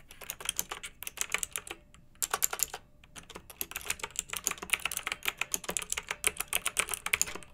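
Long-nailed fingers type on a pink backlit, typewriter-style plastic mechanical keyboard with round metal-rimmed keycaps. Rapid, bright, sharp clicks sound in quick runs, broken by two short pauses, with each click dying away almost instantly.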